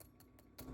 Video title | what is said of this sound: BEST EVER Spatchcock Roasted Chicken Recipe | you can just hear how crispy that chicken is